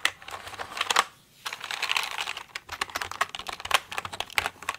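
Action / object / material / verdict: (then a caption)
tap / plastic mechanical computer keyboard / plastic / none. Fingernailed fingers type on and tap the keycaps of a pink plastic mechanical computer keyboard. A rapid run of bright, sharp clicks and clacks follows, with a brief pause near the first second before the tapping resumes. Each click dies away almost instantly.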